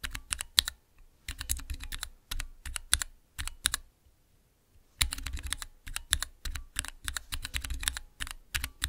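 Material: Plastic.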